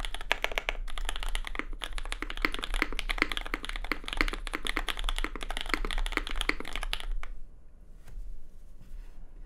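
A compact red custom Cloudline mechanical keyboard with lubed SP Star Sacramento switches, plastic keycaps and an aluminium plate is typed on with the fingertips of both hands. Rapid, bright, short clacks run for about seven seconds, then stop, leaving a quiet low background hum.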